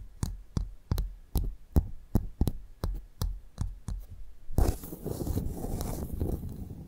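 A pearl clam's shell is tapped with about a dozen short, dull, low knocks spaced roughly evenly over the first four and a half seconds. Then a continuous rough scratching across the shell fills the rest of the clip with broadband, gritty noise.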